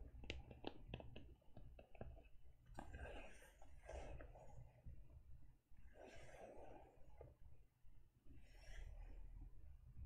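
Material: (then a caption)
Faux leather. Long nails tap and scratch the front of a closed teal faux leather e-reader cover with stitching. A run of quick, dull taps comes first, followed by soft, bright scratching bursts over a steady low rumble.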